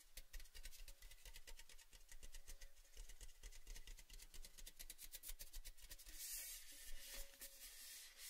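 A tall, cylindrical, orange painted metal Baileys tin, empty and open, is held in the hands and rubbed and scratched along its painted side with fingertips and nails. The sound is a steady run of quick, dry scratching strokes with a bright, rasping hiss over a faint low rumble, growing brighter near the end.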